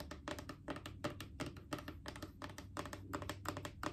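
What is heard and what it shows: A mid-sized hollow plastic Clorox disinfecting wipes canister is tapped with long acrylic nails in quick, uneven bursts. Each tap gives a short, dry, hollow click with a bright edge, over a faint low hum that may be background music.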